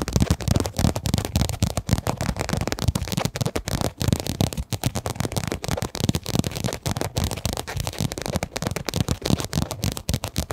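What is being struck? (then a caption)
Quilted fabric zip pouch. A pink, quilted, padded fabric pencil case with a zip, hollow and soft-sided, is held upright close to a microphone and tapped and scratched with long, dark-painted nails. Rapid, dense soft taps thump with a dull, low body, mixed with a rough, crackling scratch. Each tap dies away almost instantly.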